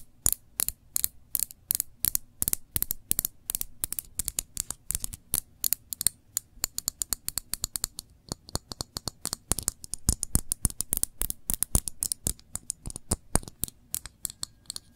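A small glass jar full of cranberry jam, held sideways, is tapped and scratched by long nails across the glass and its label. The result is a rapid, uneven stream of many sharp, dry clicks with bright high edges and almost no ring, with soft scratchy rasps between them over a faint low hum.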